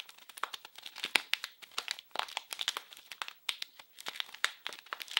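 A small blue printed package wrapped in plastic film is squeezed and crinkled in both hands. It gives a dense run of bright, crackling snaps and rustles with no low end, each crackle dying away almost instantly.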